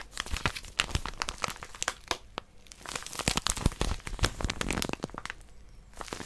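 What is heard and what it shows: Long nails grip and scratch a small white plastic-wrapped paper packet with a barcode and pink outline, held upright. Dense, irregular crinkling and crackling comes in quick bright bursts with low thumps from the grip. It pauses briefly near the middle, then resumes.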